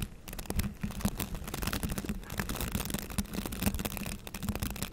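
Fingertips and nails brush and scratch the bristles of a green plastic bristle scrub brush up close. The result is a dense, continuous scratchy rustling that spans from low to bright, with many quick flicking strokes over a steady low hum near 200 Hz.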